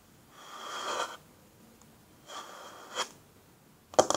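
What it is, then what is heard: Wooden tabletop, tapped and scratched. Long natural fingernails and fingertips scratch across a flat, solid wooden tabletop in two rising, hissy strokes with a bright edge. The second stroke ends in a small knock, and the clip closes with two sharp, brief taps on the wood.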